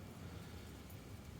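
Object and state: Nothing is struck.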